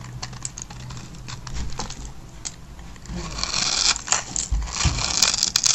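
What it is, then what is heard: Dry soap bar being cut. A metal blade cuts and scrapes a grid into the surface of a hand-sized, solid black-and-white striped bar of dry soap held in fingers with long white-painted nails. Small cubes crumble off. Bright, dry scraping and crackling crunches come in quick, uneven bursts that grow louder and denser in the second half.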